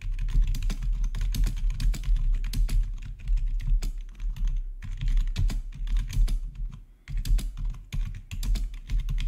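Fingertips type rapidly on a black plastic RGB backlit gaming keyboard with a hollow housing, producing a dense stream of short, sharp key clicks. The clicks sit over a deep, low thump that dominates the sound, with brief pauses near the middle and just after seven seconds before the typing resumes.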